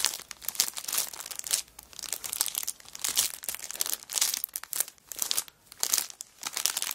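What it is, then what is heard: Cellophane wrapper on a paper notebook. A cellophane-wrapped kraft paper notebook lies flat on a rug while palms and long black nails rub and scratch the clear plastic wrapper. The result is a steady run of bright, crisp crinkling and scratchy rustles in uneven bursts, with almost no low end.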